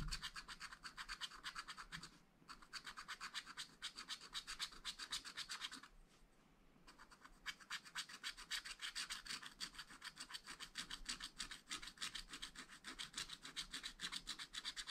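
A wooden stylus rubs back and forth across a black coated scratch-art paper page in a spiral pad, filling in an area. It makes a quick, steady run of bright, dry scratching strokes, about four per second, with short pauses near 2 and between 6 and 7 seconds.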